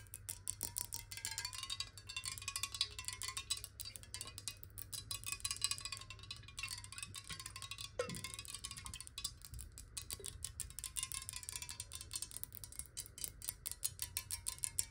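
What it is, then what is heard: Glass bottle partly filled with water. A clear, square, hollow glass bottle partly filled with water is tilted and tapped quickly with long nails. Dense, fast, bright clicking runs throughout, over a faint ringing tone near 1 kHz that wavers in pitch as the water shifts, with a brief falling sweep around the eight-second mark. A low steady hum sits underneath.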